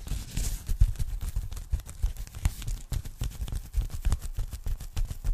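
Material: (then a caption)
Polyethylene foam. Long nails rapidly tap and scratch a thin, flat, empty pink polyethylene foam packing bag held in front of the microphone. The result is a quick, irregular patter of soft, dull, low thuds that stop almost instantly, mixed with faint crinkly scratching.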